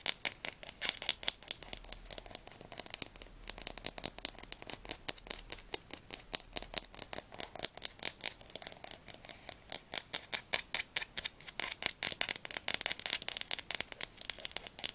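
Fingernails rapidly tap and scratch along the glossy spine of a solid blue Diercke Weltatlas hardcover held sideways. The result is a dense, continuous stream of dry, bright clicks and scrapes with almost no low end and no ring after each hit.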